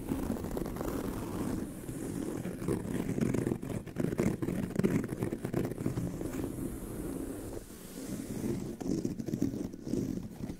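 Long nails on both hands scratch the tan pebbled leather surface and stitched seam of a brown leather handbag. The result is a steady, dense, rough scratching that stays low and muffled, with little brightness. It comes in overlapping strokes and briefly eases around the middle and near the end.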